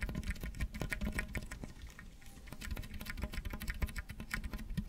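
Fingertips and nails scratch along the ridges of a hollow, ribbed pink plastic tube held close to the microphone while the tube is twisted and bent. The result is a dense run of quick, dry clicks and ticks over a heavy low rumble, easing briefly near the middle before picking back up.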